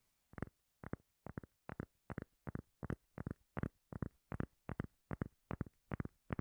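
A round, solid, palm-sized cork lid is held near the mic and tapped and scratched with long nails. Deep, muffled knocks land in quick pairs and clusters at a steady pace, each dying away instantly with no ring.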